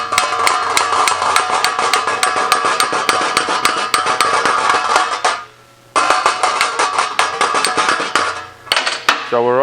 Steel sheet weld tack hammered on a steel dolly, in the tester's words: quiere escuchar el tink tink tink, así que todos estamos nivelados